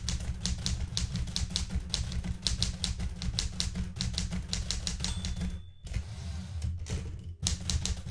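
Red-painted fingertips type rapidly on the plastic keys of a blue metal portable manual typewriter, producing a steady run of sharp, bright clacks over a constant low hum. Partway through, a brief high ringing tone sounds and the typing pauses as the right hand pushes the carriage return lever, then the quick keystrokes resume.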